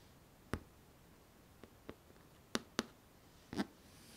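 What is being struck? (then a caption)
Synthetic leather handbag. Long manicured nails tap and scratch across the top and side panels of a medium dark brown faux leather tote bag with stitched edges, rivets and a metal charm, hollow and apparently empty. Five short, dry taps with bright clicky edges stand out over a quiet background, with a couple of fainter touches between them and a slightly longer scratchy brush near the end.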